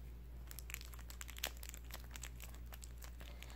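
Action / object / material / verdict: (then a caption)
scrape / plastic-film candy bar wrapper / plastic film / none. A full KitKat candy bar wrapper, made of small plastic film, is held in both hands and crinkled and rubbed with the fingertips. It gives quiet, bright crackles, with one sharper crinkle near the middle, over a steady low hum.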